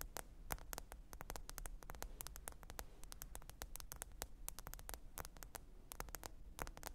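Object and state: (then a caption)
Smartphone glass screen tapped with nails. Long pointed nails tap rapidly on the glass screen of a small, thin black smartphone lying flat, screen up, on faux fur. Many short, crisp clicks with bright upper edges come in an irregular patter. Each click dies almost instantly over a quiet, steady low hum near 59 Hz.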